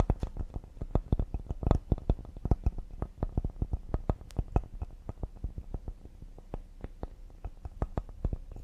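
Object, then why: Cedar wood serving board. A cedar wooden serving board is tapped quickly and delicately with the fingers, about forty light taps over nearly nine seconds. Each tap is a short, dull knock that dies away almost at once, mostly low in tone with a faint click on top. The pace stays steady throughout while the taps grow slightly softer toward the end.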